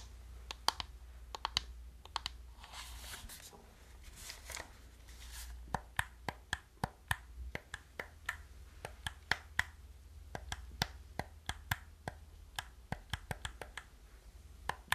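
Long nails click the buttons and tap the shell of a hollow black plastic gamepad, making dozens of short, dry, bright clicks that stop almost instantly. Brief stretches of soft broadband rustling come between the taps, over a steady low hum.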